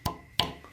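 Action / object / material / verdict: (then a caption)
flick / cast reptile skull teeth, resin / resin / none. Two sharp flicks on the teeth of a resin museum cast of a phytosaur skull, a crocodile-like Triassic reptile, give two short, bright clicks with a faint ring that dies away quickly.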